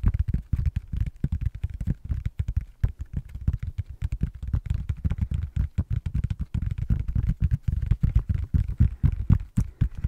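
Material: Silicone.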